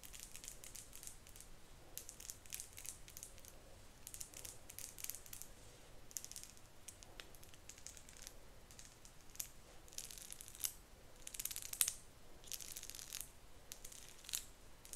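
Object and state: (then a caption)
Plastic wide-tooth comb. Long nails run along and strum the teeth of a solid, hand-sized cream marbled plastic wide-tooth comb. The result is soft, bright, crackly bursts of rapid ticking clicks that come in irregular sweeps throughout, a few slightly sharper than the rest.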